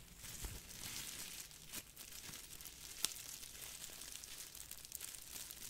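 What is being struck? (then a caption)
Crumpled plastic bubble wrap. Fingertips squeeze and crinkle a small crumpled piece of clear plastic bubble wrap. The result is a quiet, steady, bright crackling rustle, with one sharp click standing out midway through.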